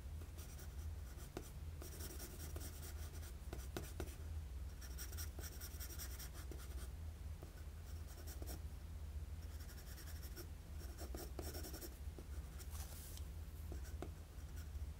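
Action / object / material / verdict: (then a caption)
scrape / graphite pencil on a sheet of drawing paper / paper / none. A wooden graphite pencil draws quick, jagged strokes across a flat sheet of drawing paper. Bursts of bright, dry scratching come and go over a steady low hum, with short clicks where the strokes start and stop.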